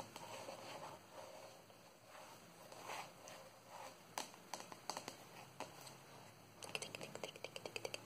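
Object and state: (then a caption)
Plastic jar tapped with fingernails. A hand-sized, hollow white plastic cylindrical jar with a green plastic lid is held closed in the hand and tapped on its side with long nails. Soft, quiet scratching and rustling come first, then a run of short, sharp, bright clicks that die away almost at once, quickening and bunching together toward the end.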